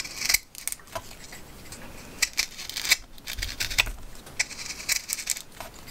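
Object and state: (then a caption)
Green wooden branch being shaved with a knife. A steel knife shaves the flat face of a partly debarked, solid, fresh green wooden branch being carved into a honey spoon. Quick, crisp scraping strokes sound bright and dry, with sharp high clicks, very little low end, and almost no ring between cuts.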